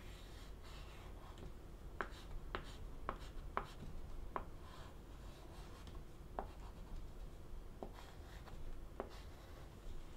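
A stick of green chalk draws a small mark in the upper right of a wooden-framed black chalkboard with a flat solid panel. Soft rubbing and scratching strokes are heard, with several short, sharp taps and scrapes standing out over a low, steady background hum.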